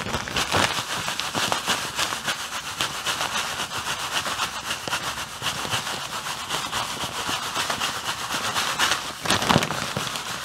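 A medium-size clear plastic bag full of white artificial snow granules is held close and squeezed and rubbed with the fingers. The plastic crinkles and the snow crunches in a dense, steady, bright crackle with little low end, swelling into a louder burst near the end.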